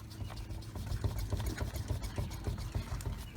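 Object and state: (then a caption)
Worn front wheel bearing with play. A tire on the front wheel of a 2008 Infiniti G37 with 179k miles is shaken hard by hand, producing a rapid, uneven series of low, dull clunks with almost no ring. The clunking comes from play in a worn front wheel bearing; the wheel on the other side does not do this.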